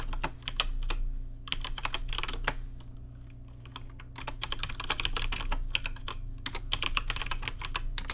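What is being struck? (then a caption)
Plastic mechanical keyboard. Fast fingertip typing on a rainbow-lit plastic RGB mechanical keyboard with plastic keycaps produces rapid, dry, bright clicks with almost no ring, pausing briefly midway before resuming. A steady low hum sits underneath the keystrokes.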